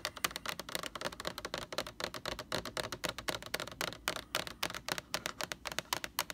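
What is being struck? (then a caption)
Large plastic bottle. Long nails tap and scratch over the front label of a large white plastic Lysol laundry sanitizer jug. The result is a quick, uneven run of dry, bright clicks with soft scratchy rustling between them, each tap dying away almost instantly.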